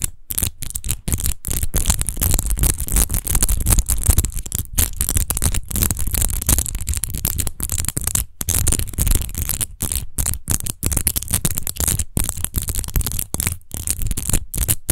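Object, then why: Textured glass wine bottle. Long nails on both hands rapidly scratch and tap a large, hollow, clear glass rose-shaped wine bottle with a rose-textured base, apparently empty. The result is a dense, continuous scratching texture with a heavy low rumble, a bright hiss on top, and quick taps that stop short, broken by brief silent gaps.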